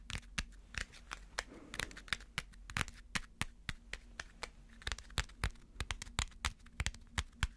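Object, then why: Crumpled aluminum foil ball. A small crumpled aluminum foil ball held in the fingers is tapped and scratched with fingernails, producing about thirty sharp, bright, crinkly clicks at an irregular pace, with a brief rustling scratch near the two-second mark. A steady low hum sits underneath the whole clip.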